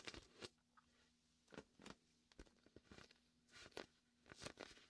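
A large, hollow, air-filled red-and-white PVC vinyl beach ball is held beside a binaural microphone while fingertips and a palm tap and pull at its sticky surface. Eleven short, sharp, bright crackling peels and taps sound quietly over a faint, steady low hum.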